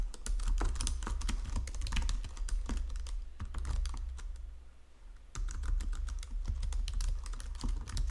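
Fingertips with painted nails type across the low-profile keys of a full-size white and silver plastic Logitech keyboard resting on a marble desk. Quick, bright clicking keystrokes run in a steady stream over a constant low hum, briefly thinning out and dropping to near silence before the typing resumes at the same pace.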